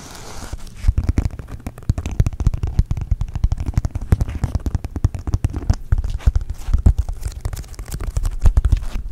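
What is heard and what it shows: A thin, solid, flat pink glitter foam heart-shaped sheet is held with both hands and scratched quickly with fingernails across its textured glitter surface. After a brief soft hiss, a dense, rapid run of short, dry scratches and crackles follows, heavy in low thumpy tones, with each stroke dying away almost at once.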